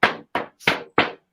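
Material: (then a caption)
Plastic. A clear double-ply plastic drum head, fresh out of the box and not yet mounted on a drum, is tapped four times. Each tap gives a short, damped thunk that dies away within about a quarter second. The sound is darker than a single-ply head's, with the fundamental tone coming through quickly and little ring.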